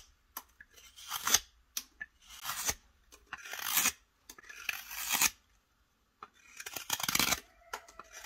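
A metal hook knife scrapes and carves the inside of the bowl of a solid, pale wooden spoon blank held in the hand. A series of bright, rasping strokes builds and cuts off, separated by short pauses and light ticks, with almost no low end.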